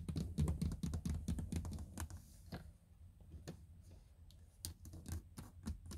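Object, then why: Plastic car door trim panel. Long nails tap and scratch on the textured, hollow plastic door trim around the handle of a car door panel. Quick, uneven clicks and brief scratches come in a dense burst at first, then grow sparser and quieter with a low, hollow body under each tap.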